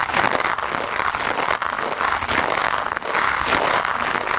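A handheld green plastic scrub brush with white bristles is rubbed quickly and hard across a black foam microphone windscreen. The result is a dense, continuous scratchy rustle, strongest around 1–2 kHz with bright hiss above, and only brief dips between strokes. There is no talking.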